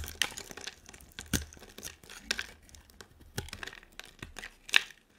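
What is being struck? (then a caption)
Soap bar. A hand-sized solid green bar of soap with a dark coating is held in one hand and scraped and carved into strips with a utility knife blade. Crisp, crinkly scraping and tearing sounds are punctuated by several sharp, bright snaps as the strips break away. Short, dry bursts follow one another with almost no ring.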